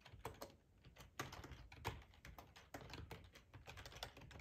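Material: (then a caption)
Plastic. Fingertips type steadily on a black plastic ergonomic split keyboard with a hollow housing, resting on a cloth tablecloth. The quiet, rapid key taps are short and clicky with a dull, low hollow thud beneath them and a faint bright edge. Each keystroke dies away almost at once.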